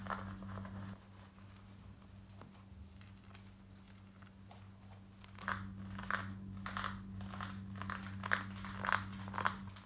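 Long nails scratch quickly across light grey cotton denim jeans worn on the body, working over the hip and back pocket area. Soft, raspy scratching strokes come at the start, fade to a quiet stretch, then return from about five and a half seconds as a run of brighter, uneven scrapes. A steady low hum sits underneath throughout.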